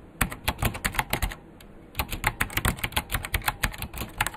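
A vintage beige plastic full-size KPT-102 mechanical keyboard with Alps switches and a hollow case is typed on fast with the fingertips of both hands. About 29 sharp, clacky keystrokes land in quick bursts, with a brief pause in the middle. Each has a bright click over a hollow low thud and dies away almost instantly.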